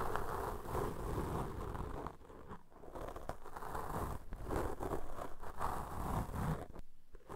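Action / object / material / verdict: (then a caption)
scrape / foam microphone windscreen / foam / none. Cotton swab tips rub and scratch against black foam microphone windscreens, first with swabs in both hands and then with a single swab on the left windscreen. The result is a steady, dense, muffled scratching and rustling with most of its energy low, briefly easing around the two-to-three-second mark and fading near the end.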